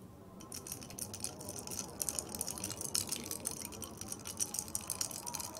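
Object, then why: Glass tumbler with ice and drink. Long red acrylic nails tap and scratch the outside of a tall clear glass tumbler, partly filled with dark cola and ice cubes and standing on a white plate. Rapid, bright, crisp clicks and scrapes die away almost instantly, while ice clinks lightly inside over a soft, steady low rustle.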